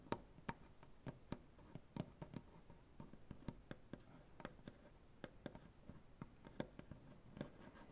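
Fingernails scratch and tap across a solid light wood butcher block tabletop, using both hands. A quick, irregular run of sharp, dry taps with almost no ring sounds over a soft, continuous scratching, all quiet and weighted toward the low end.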